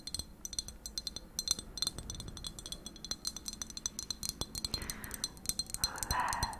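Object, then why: Glass object. A glass item is tapped rapidly with long nails, giving a dense run of short, bright clinks that ring high and die away almost at once. Near the end, a softer, hissing texture rises beneath the taps.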